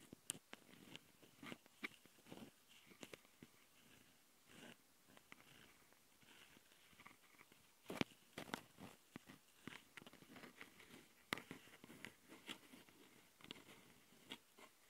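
Long nails on both hands scratch and tap the mic capsule housings of a handheld plastic Tascam recorder. Quiet, irregular bursts of dry, bright scratching and crisp clicks come one after another, with short gaps of faint hiss between them.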